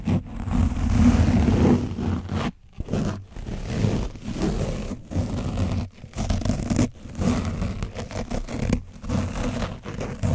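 An orange foam windscreen coated in dried paint on a microphone is brushed and scratched rapidly with a foam sponge brush on a wooden handle. The result is a dense, low, muffled scraping rustle in irregular bursts, broken by brief pauses, with almost no bright high end.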